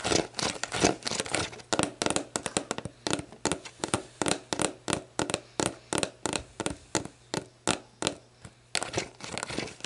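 Long black nails scratch and tap the printed plastic label of a hollow, mostly empty clear plastic sports drink bottle lying on its side on a wooden table. The result is a steady run of quick, dry, crinkly taps and scratchy bursts with bright edges and almost no ring. A faint low hum sits underneath.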